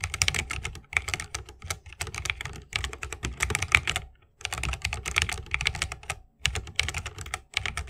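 A 60% mechanical keyboard with a bamboo case, plastic keycaps and Holy Panda switches is typed on continuously with the fingertips of both hands. Rapid, bright clacking keystrokes with a low thock underneath come in steady bursts, with brief pauses near the middle and toward the end. Each keystroke stops sharply with no ring.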